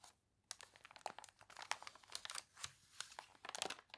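Long nails scratch and fingers crinkle the glossy, wavy pages of an open paper catalog whose pages are wrinkled from water, with a page turn among the sounds. After a brief quiet start, a dense run of sharp, dry crackles and crunches follows, bright and high with almost no low end, each snapping off quickly.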